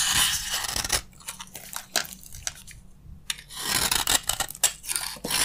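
A utility knife blade repeatedly cuts and scrapes crunchy chips from a green, solid bar of dry soap held in the palm. Bright, dense crunching and scraping fill the opening second and the last two seconds. In between, quieter sparse crisp clicks and brief scrapes are heard.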